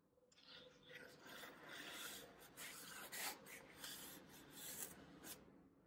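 A solid green floral foam brick is held in the palm while fingertips press and crush its top, then a thin knife blade starts cutting into its edge. The result is a dry, crackling, rasping texture, bright and airy, with little low end. It swells into louder crunchy bursts as the foam gives way.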